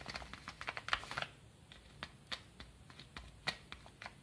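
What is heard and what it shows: Fingertips scratch and rub the surface of a small brown kraft paper padded mailer with a stamp and stickers, lying flat. A quick, irregular run of dry, crisp scratches is heard, bright with little low end, clustered densely in the first second and then spaced out into scattered single strokes that stop instantly without ringing.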